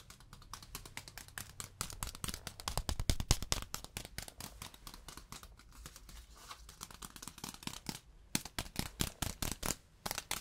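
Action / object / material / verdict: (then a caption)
tap / beeswax-coated fabric wrap / waxed fabric / none. A yellow beeswax food wrap, a wax-coated fabric sheet held up in the air, is tapped and scratched with fingertips and nails and then folded and crinkled. The result is a rapid, uneven run of short, dry clicks and crisp crackles with bright edges over a faint low hum.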